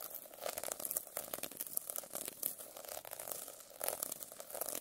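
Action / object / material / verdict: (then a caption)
scrape / plastic sequin notebook cover scratched with a metal pen / plastic sequins / none. A metal pen scratches across the plastic sequins covering a notebook. The result is a continuous, bright, crinkly scraping with many quick clicks and very little low end.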